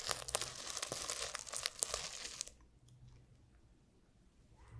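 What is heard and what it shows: A small notebook with a cover of flip sequins (plastic sequins on fabric) is held in one hand while fingertips and nails scratch and brush the sequins back and forth. This makes a dense, bright, crackly rustle of rapid clicks for about two and a half seconds. Then it stops abruptly, leaving near-quiet with a faint low hum.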